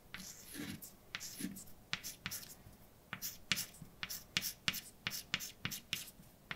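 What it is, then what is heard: Chalk writing on a blackboard. A hand writes letters with white chalk on a large dark chalkboard, a flat solid surface. Bright, dry scrapes alternate with short, sharp taps as the chalk moves across the board, each sound dying away almost instantly. The strokes and taps come in quick, uneven bursts throughout.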